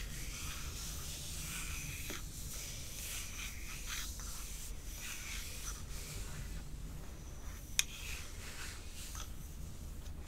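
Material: Glass.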